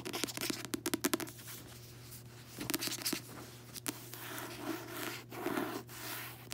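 Long nails tap and scratch the glossy card cover of a closed paperback book, first on the front, then on the back after the book is turned over. A quick run of sharp, dry taps gives way to soft, bright scratching strokes and a few isolated taps, over a faint steady low hum.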